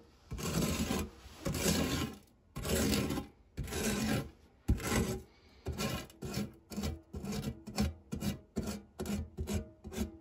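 A printed silicone spatula is rubbed flat against the textured base of a non-stick metal tart tin, making rasping, scraping strokes with a low body and a bright hiss on top. The first few strokes are long and slow, then they become shorter and quicker, each separated by a brief silence.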